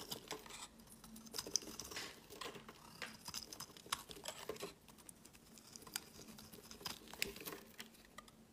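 A white oval embossed soap bar, first resting on a mat and then held, is shaved with a metal blade. Quiet, dry scraping and crisp crackling strokes come in irregular bursts, with mostly bright, high-pitched content and no ringing afterward.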